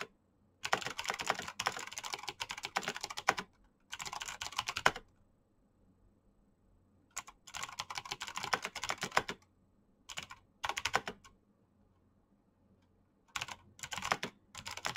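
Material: Plastic.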